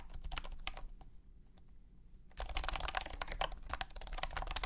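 Fingertips type on a compact white and blue plastic wireless keyboard with round hexagonal honeycomb keycaps and a hollow body. Sparse, light clicking taps give way after a quieter stretch to a denser, louder burst of fast typing. Each key strike is short and hollow-sounding, with a steady low hum underneath.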